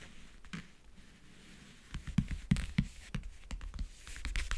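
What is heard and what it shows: Fingernails tap, grip and scratch the lid of a closed, hollow backgammon case covered in map-print faux leather. Faint, soft scratching for the first two seconds gives way to irregular, dull, low knocks with brief bright scratchy edges. Each knock dies away almost at once.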